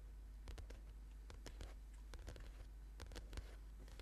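Short-nailed fingertips of both hands tap and scratch the glossy, colourful card cover of a thick paperback book, a solid stack of paper lying flat on a purple yoga mat. Quiet, crisp taps and dry scratching strokes come in irregular bursts over a steady low hum.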